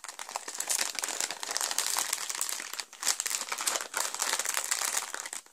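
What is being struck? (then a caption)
Thin plastic bag of plastic bricks. A clear, thin plastic bag full of purple and grey Lego pieces for set 70906, The Joker Notorious Lowrider, is held, squeezed and pressed flat on a table with hands and fingertips. It makes a dense, bright, continuous crinkling with brief pauses near the three- and four-second marks and almost no low end.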